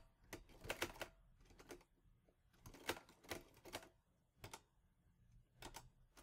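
Fingertips type on the keys of a mint-green Olivetti Lettera 22 portable typewriter with a metal body and paper loaded. Sharp, bright metallic key strikes come in quick clusters separated by short pauses, each snapping off almost at once over a faint low hum.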